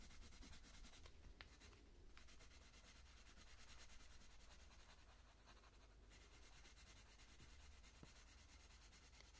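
A purple wooden coloured pencil is stroked repeatedly across the petal area of a flat paper colouring book page. It makes a quiet, continuous scratchy rubbing with a fine bright hiss over a steady low hum, in short irregular strokes.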